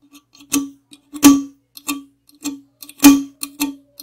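Long acrylic nails tap and scratch the side, then the top and rim, of a tall, hollow aluminum Monster energy drink can. Irregular, sharp taps each ring briefly with a hollow metallic tone around 280 Hz and bright clicky tops, some louder than others.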